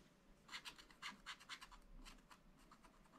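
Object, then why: Coated scratch-art paper scraped with a wooden stylus. A wooden stylus scratches and rubs the black coating off a sheet of scratch-art paper in a spiral pad. It makes a series of short, dry, bright scratching strokes with little low end, each dying away almost at once.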